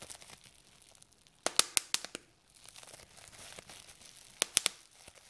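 Fingertips and short nails pinch a large sheet of clear plastic bubble wrap resting on a table, popping its air-filled bubbles one by one. Nine sharp, bright pops stand out: a run of six, a quiet stretch of soft crinkling, then three more. Each snap dies away almost at once, with nothing in the low end.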